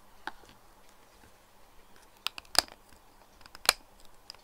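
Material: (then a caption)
Plastic. Fingertips and nails tap along the body of a clear plastic cylindrical toiletry bottle with a black cap, full of pink liquid and lying on its side on a desk. About five short, sharp, high clicky taps land at irregular intervals over a faint low hum, with fainter ticks between them and no ring.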